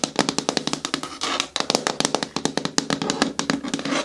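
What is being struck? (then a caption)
Hard plastic bucket with lid. Long natural nails tap quickly on a hard plastic bin-style bucket with a lid, making about thirty short, dry, bright clicks with a faint hollow tone. Near the middle, a brief scratchy rasp is heard on the plastic before the rapid tapping resumes.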